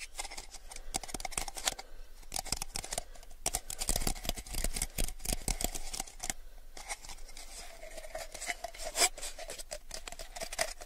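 A small, hollow, empty clear plastic cup is held between both hands and tilted while fingertips and short nails tap and scratch along its sides. The result is a steady stream of quick, dry, bright clicks and scratchy rasps over a faint hollow tone near 700 Hz.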